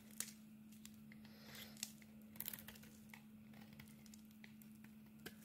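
A metal blade scrapes and carves thin slices off a solid black and cream bar of soap. Quiet, bright, crinkly scraping comes in irregular bursts with a few sharp clicks, over a faint steady low hum.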